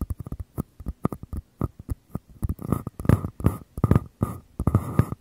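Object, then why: Small paper cups. Fingers tap and scratch the outer paper walls of two identical small, empty, hollow paper cups held with their open mouths toward the mic. Quick, dry, hollow taps with a low body and a brief papery ring come first. They give way to longer rasping scratch strokes mixed with taps in the second half.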